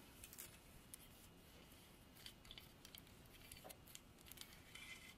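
A solid dark hardwood carving of a running horse on a base, about 30 cm long, is scratched and tapped with long artificial nails. Quiet, bright clicks and scratchy ticks rise over a steady low hiss, with several sharp taps standing out.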